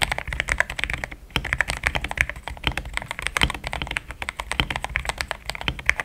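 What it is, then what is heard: Plastic mechanical keyboard. A compact pink-and-cream plastic mechanical keyboard with thick XDA-profile keycaps, Gateron Yellow switches and a polycarbonate plate sits on a desk mat while the fingertips of both hands type steadily on the keys. It makes a fast, continuous stream of short, dry clacks with a bright upper clatter over a soft low thud. There is one brief pause near the one-second mark before the typing resumes.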